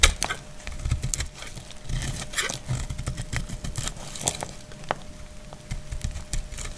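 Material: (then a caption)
Soap. A solid translucent green glycerin soap bar is held in hand and cut and scraped with a utility knife blade. Short, crisp scraping clicks and bright crackles come in irregular bursts over a low background rumble, with a faint steady tone near 600 Hz running underneath.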